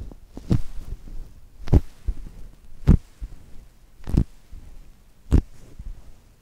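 Long-nailed fingers squeeze and rub a brown polyurethane foam chocolate toast squishy held between the mics. Five main soft, muffled squeezes come roughly every second, each a deep low thump with a brief bright rustle. Quieter rubbing and crinkling fill the gaps between them.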